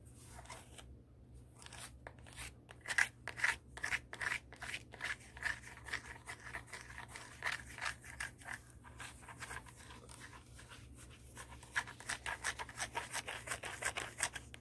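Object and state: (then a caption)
High-heel shoe scratched with fingernails. A black high-heel pump with a tan sole is turned over while long acrylic nails scratch across the tan sole and the upper. The result is a quick run of short, dry, bright scratching strokes with a rasping texture and no ring after each stroke.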